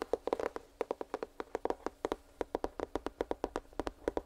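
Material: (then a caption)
Cardboard. A small, hollow printed cardboard headphones box, held near the microphone, is tapped quickly with fingertips and nails. The result is a rapid run of about 27 short, dry, hollow taps, each centred around a low-mid 465 Hz tone with quick bright clicks from the nails. The taps fall in irregular clusters and die away almost instantly.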